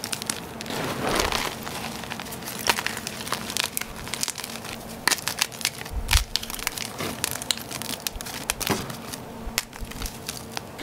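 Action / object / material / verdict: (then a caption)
scrape / gym chalk block pieces / chalk / none. Gloved fingers and palms squeeze, crumble and rub hard, solid chunks of broken gym chalk block in a container of chalk powder. Dense crunchy, crackling sounds are heard with many sharp bright snaps over a steady gritty rustle throughout.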